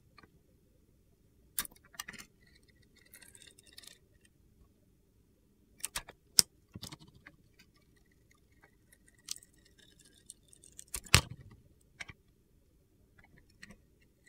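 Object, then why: Bar of soap shaved with a metal blade. A metal box-cutter blade shaves the coating off a solid, palm-sized, dark blue glitter-coated bar of soap, revealing the white soap underneath. Short, bright, crisp scraping and crunching bursts come at irregular intervals, separated by quiet pauses with faint gritty scratching.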